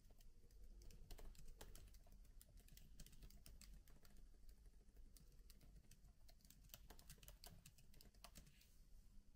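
Fingertips type steadily on the plastic keys of a MacBook laptop keyboard with an aluminium body. The result is a quiet, uneven stream of soft, short, bright clicks over a low, constant hum.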